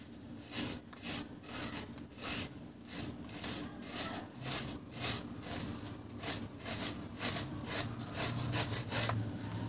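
A large, round, flat, solid dry cement cake held by the fingertips is shaved with a blade in repeated scraping strokes, and powder falls away. Each stroke makes a dry, gritty rasp with a bright hiss, coming at a steady but slightly uneven pace under a low hum.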